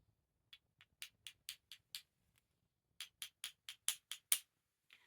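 Two pieces of genuine Bakelite jewellery, a dense, heavy plastic, are tapped together in two quick bursts of about seven taps each, with a pause between them. Each tap is a light, bright, high-pitched click with almost no low end, dying away almost instantly. This light "clickety" sound is the one expected from real Bakelite.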